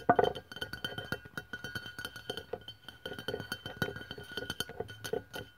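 A white aluminium aerosol deodorant can, about 150 ml, standing on a wooden table, is tapped on its side by fingertips with long press-on nails. Quick, light taps follow one another in a steady, uneven rhythm, each a short hollow metallic clink with a mid-pitched tone around 700 Hz and a faint bright edge. The opening taps are the loudest.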